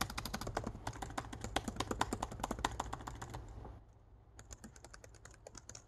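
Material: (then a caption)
Plastic. Fingertips type and tap rapidly across the black plastic keys of a laptop keyboard set in an aluminum laptop body, producing a dense run of sharp, bright clicks over a steady low hum. After a brief lull, the tapping resumes more sparsely and quietly.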